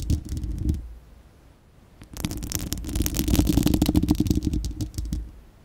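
Long acrylic nails on both hands scratch the bare, hollow, fist-sized spherical steel wire-mesh grille of a microphone, making a deep, rumbling scrape with fast, bright ticking rasps on top. A short burst of scratching fades into near silence, then a denser, steadier run of rapid scratching builds and tapers off at the end.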